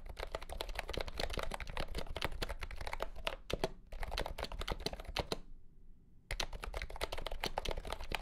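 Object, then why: Plastic compact keyboard. A compact pastel green plastic keyboard with round keycaps and a hollow body, resting on a felt mat under green light, is typed on with fingertips. It gives fast, bright, clacky keystrokes with a hollow plastic tone, broken by a brief pause near the middle and a longer silence before the typing resumes.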